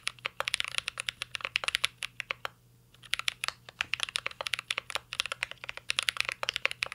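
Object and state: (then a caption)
Mechanical keyboard being typed on. Fingertips of both hands type on a full-size CYBERBOARD R3 mechanical keyboard with an aluminum case, plastic keycaps and Holy Panda switches. The result is a rapid stream of short, bright, dry key clicks with almost no ring, pausing briefly near the middle before resuming.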